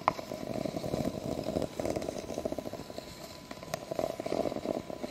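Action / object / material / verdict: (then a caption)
scrape / ribbed plastic drinking cup / plastic / none. Long fake nails scratch along the ridges of a clear, hollow, empty ribbed plastic drinking cup held upside down and tap on it. The result is a fast, continuous rasp of dense little clicks and ticks, with a few sharper taps and a faint steady tone near 1 kHz underneath.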